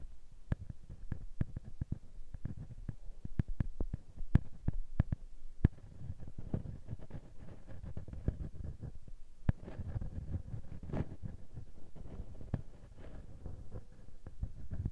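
The small metal mesh microphone capsule on a Tascam handheld recorder is rubbed and scratched with fingertips and nails. It produces a dense, low, rumbling scrape of friction noise centered around 113 Hz, broken by many sharp, brief clicks and pops. The sound is close and boomy, with almost nothing in the high range.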